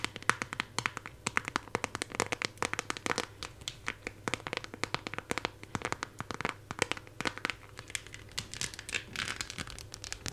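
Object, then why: Clear plastic phone case with raised decorations. A hand-held phone in a clear plastic case with raised 3D decorations is scratched and tapped by long nails on the case back and the decorations near the camera cutout. The result is a dense run of sharp, dry clicks and crinkly scratches, bright and quick-decaying, over a quiet low hum.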